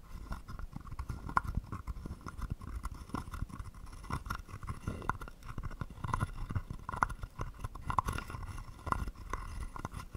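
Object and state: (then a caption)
Wooden frog guiro. A wooden stick is rubbed along the ridged back of a small, hollow, carved wooden frog guiro held in one palm, and is also tapped against its body. The result is a steady run of quick, dry scrapes and short knocks with a hollow tone around 1 kHz, over a soft low rumble.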